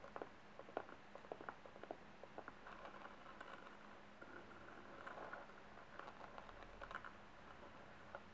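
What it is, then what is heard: Silk brocade covered box. Fingertips and nails tap and scratch across the fabric-covered lid of a small, closed, rectangular box covered in blue patterned silk brocade with a gold metal clasp, likely hollow, resting on a table. Quick, soft, muffled taps come in irregular bursts, mixed with faint rustling scratches. Each tap dies away almost instantly over a quiet, low, steady hum.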